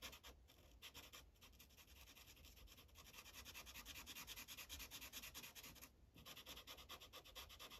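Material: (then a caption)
Paper. A yellow felt-tip marker rubs over a thin printed paper coloring page resting on a hard clipboard in fast coloring strokes. The result is a steady, bright, scratchy rubbing with a quick back-and-forth rhythm, broken by a few brief pauses near the start and again about six seconds in.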